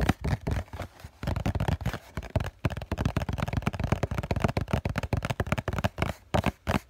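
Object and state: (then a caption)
Cardboard tissue box. Several fingertips tap rapidly on the printed front face of a hollow cardboard COCON tissue box held up with both hands. The taps are short, dull, hollow thumps with a low, boxy tone and almost no ring. They come in quick irregular bursts broken by brief pauses.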